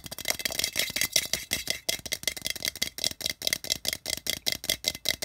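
Fingertips and nails on both hands quickly tap and scratch the sides of a hollow, patterned printed tin can resting on carpet. About 27 dry, bright, rattly clicks and scrapes come in rapid succession, each dying away almost instantly with very little low end.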